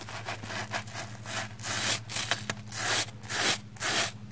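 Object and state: Soapy foam sponge being brushed.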